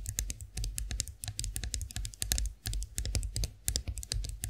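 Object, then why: Chrome-finished metal face roller tapped with fingernails. Long acrylic nails tap the smooth handle of a chrome-finished face roller standing upright, making a quick run of crisp, bright clicks with almost no ring. The taps come in uneven bursts over a steady low rumble, sounding much like fast typing on a keyboard.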